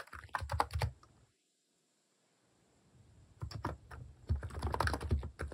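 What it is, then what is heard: Plastic keyboard typing. A plastic mechanical keyboard with cat keycaps sits on a desk while fingertips tap its keys in typing. Bursts of short, dull clicks with a thumpy low end come in two runs, separated by a quiet pause of about a second and a half.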